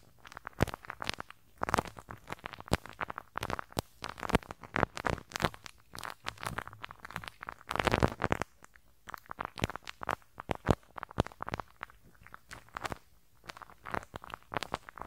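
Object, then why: Metal mesh microphone grille brushed with rubber bristles. A teal rubber-bristle brush scratches across the small hollow metal mesh grille over the left capsule of a handheld stereo recorder. The result is a dense, irregular run of crackling, popping scratches and sharp dry clicks. Occasional louder bursts rise above a low, muffled rumble.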